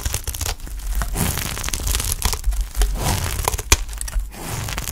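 A utility knife blade scrapes and shaves strips off the cut face of a solid, dry green olive oil soap bar held in the hand. The sound is a steady run of crunchy, crackling scrapes with bright, crisp edges and a low rumble underneath, plus a few sharper snaps as strips break away.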